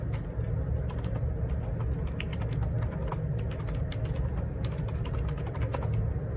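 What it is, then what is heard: Plastic ergonomic keyboard being typed on. Fingertips type on the plastic keycaps of a black Perixx Periboard 612 wireless Bluetooth dual split ergonomic keyboard resting on a grey table. A steady run of quick, crisp key taps clicks over a constant low, deep hum that carries most of the sound's energy.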